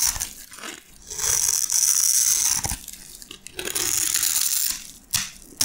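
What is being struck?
Soap bar scraped with a metal blade.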